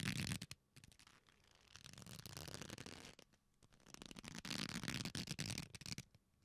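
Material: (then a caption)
Leather. A flat, solid black leather belt is folded into loops and squeezed together by both hands. It gives dense bursts of creaking and rubbing with low body and bright, scratchy crackle, broken by short quieter pauses.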